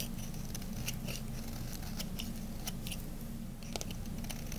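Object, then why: Bar of soap cut with a small metal blade. A small metal blade carves a dry, solid cream-colored bar of soap, scraping thin slices from its edge. Crisp, bright scratchy scrapes and crackles come in quick irregular bursts over a steady low hum.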